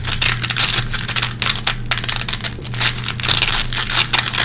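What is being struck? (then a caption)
Nylon velcro hook strip. Long red-painted fingernails scratch at a small gray nylon velcro hook patch, picking lint out of the hooks. The scratching comes as rapid, bright, crackly rasps in uneven bursts over a faint steady low hum.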